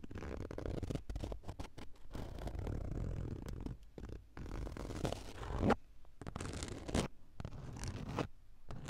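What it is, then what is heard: Fabric car seat upholstery. Long acrylic nails scratch along the grey woven fabric of a padded car seat. The result is a series of dull, low, rustling scrapes in uneven bursts, separated by brief pauses.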